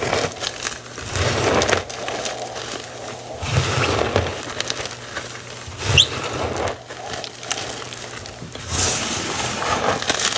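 A dry white gym chalk block (magnesium carbonate) with loose pieces and a powder pile is squeezed and crumbled in both hands, then fingertips are pressed into the powder. Dry, bright crunching and crackling come in uneven bursts with soft, dull low thumps beneath. Each crunch dies away almost at once.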